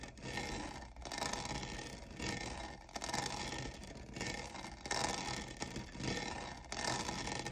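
Fingernails scratch and rub the diamond-textured sides of a hollow lavender plastic cold cup, a textured tumbler. The result is a dry, bright, rasping scrape with a fine gritty crackle, rising and falling in uneven repeated passes with no pauses of silence.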